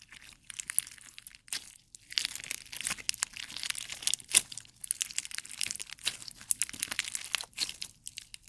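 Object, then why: Clear slime with gummy jelly cubes. A handful of clear slime full of colored gummy jelly cubes is squeezed and pulled with the fingers of both hands. It makes dense, bright, squelchy crunching and crackling in quick bursts, with a brief pause near the two-second mark. The sound is thin and high with almost no low end.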